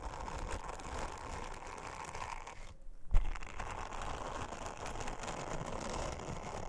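An orange silicone bristle scrubber is brushed and rubbed over a flat, thin, round blue silicone honeycomb trivet by long-nailed fingers, making a steady, dense crunching and scratching texture. Around the midpoint the rubbing briefly stops, followed by a single soft low thump. The brushing then resumes and carries on evenly to the end.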